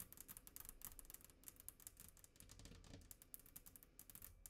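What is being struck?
Glass tabletop.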